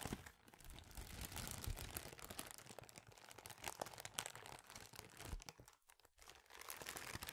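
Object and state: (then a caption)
Thin plastic bag being crinkled. A small, thin, empty clear plastic bag is scrunched and crinkled with the fingers. A dense, continuous crackling crinkle fills the clip with bright, papery rustle and soft low thumps of handling. It briefly drops quieter near the end before the crinkling picks back up.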